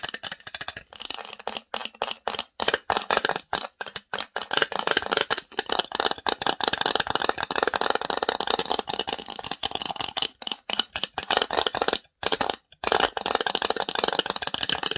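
Long nails scratch and tap rapidly across the engraved lid of a small, hollow, varnished wooden box. The result is a dense, dry, rattling clatter, bright and with no low end, broken by brief silent pauses.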